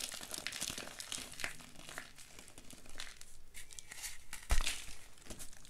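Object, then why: Block of pressed gym chalk. Fingertips and short nails press into the top and sides of a large solid block of reformed white gym chalk (magnesium carbonate) topped with pink glitter, resting on a dark surface. The block crumbles with dense, bright, crunchy crackling, and one louder crunch comes near the end.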